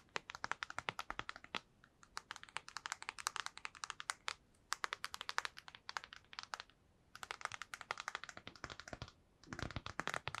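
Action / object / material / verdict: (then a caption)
tap / plastic handheld game console / plastic / none. Long nails tap rapidly across the front and back of a black PSP handheld console, its hollow plastic body and glossy screen giving dry, bright clicks. The taps come in quick bursts separated by brief pauses, each click ending instantly with no ring and little low end.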